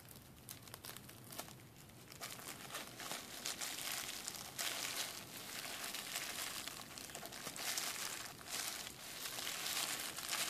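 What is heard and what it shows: A clear plastic bubble wrap sheet is held up in a fold while its hollow air bubbles are squeezed and popped between fingers and thumbs. Dense, bright crinkling runs throughout, with sharp pops and crackles scattered irregularly and growing slightly louder toward the end.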